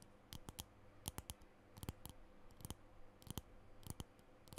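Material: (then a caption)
Plastic. Long nails tap and scratch the case of a small plastic lipstick tube with a green base, held in both hands. Sixteen sharp, bright clicks come in uneven clusters, each dying away almost at once, over a faint, steady low hum.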